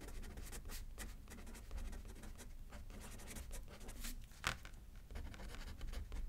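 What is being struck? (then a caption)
Paper card on a paper pad, written on with a pen. A pen writes left-handed on a thin paper card resting on a paper pad, scratching softly across the paper. The quiet, steady scratching runs throughout over a low rumble, with one sharper tap partway through.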